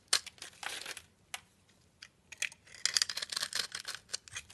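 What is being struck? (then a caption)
Solid bar soap. A blade scrapes across the scored surface of a solid black bar of soap held in the hand, shaving off crumbly flakes. The sound is a series of dry, bright, crackly scraping bursts with no low end, some short and some drawn out, separated by brief quiet gaps.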